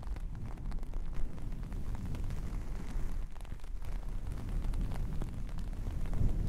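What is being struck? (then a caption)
Long-pile faux fur fabric. A hand with long painted nails scratches and combs through red and black long-pile faux fur fabric. It makes a steady, dense, low rumbling rustle with crackly scratches throughout and almost no bright content.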